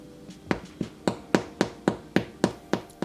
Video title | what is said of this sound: MULTIGRAIN HOMEMADE BREAD! *EASY AND QUICK* | if it sounds like that I'm good to go sounds quite hollow